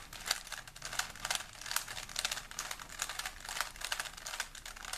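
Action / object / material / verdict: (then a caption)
scrape / plastic 3x3 puzzle cube / plastic / none. A small solid plastic 3x3 Rubik's puzzle cube is held in both hands while fingertips rapidly twist its layers. The result is a quick, continuous run of bright plastic clicks and rubbing with almost no low end and no ringing.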